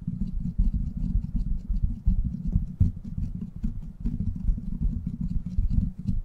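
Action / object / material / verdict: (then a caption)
tap / steel mesh microphone grille / steel mesh / none. Fingertips tap and scratch the hollow, rounded steel mesh head of a silver microphone. The result is a dense, continuous patter of soft, muffled low thumps and rustles, with faint bright ticks scattered above.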